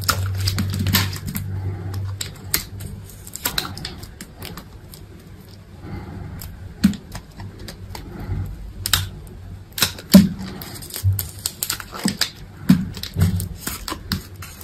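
A utility knife blade cuts and scrapes chunks from a solid white bar of soap, making a steady run of crisp, short clicks and scratchy scrapes over a low hum. Sharper cracks stand out in the second half as pieces break away.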